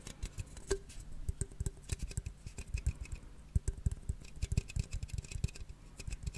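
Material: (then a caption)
Aluminium. A closed blue and red aluminium cola can, held in one hand, is tapped and scratched with fingernails. The result is a quick, irregular patter of short, dry taps with a dull low thump and almost no ring, mixed with faint scratchy rustling in between.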